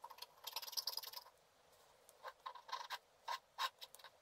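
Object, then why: Black-coated scratch art card scratched with a wooden stylus. A wooden stylus scratches and rubs a black-coated scratch art card lying flat, making a dense run of dry, bright scratching for just over a second. After a short quiet pause, a few separate quick strokes follow. The sound is thin and high with no low end.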